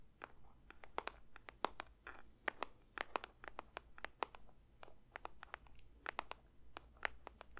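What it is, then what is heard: Paper box, tapped. A paper box is lightly tapped with the fingers for ASMR, giving a quick, irregular run of soft, dry clicks and crinkly taps. Each tap is short and papery with almost no ring. The taps are quiet over a steady low hum.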